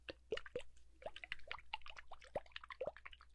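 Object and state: Water-filled glass globe (liquid inside).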